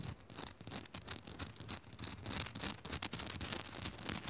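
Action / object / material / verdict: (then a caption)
scrape / salt crystal lamp / rock salt / none. Long fingernails on both hands quickly scratch the rough faces of a hand-sized, solid pink Himalayan salt crystal lamp. The result is a fast run of short, dry, bright scratching strokes with a gritty high hiss and only a faint low rumble underneath.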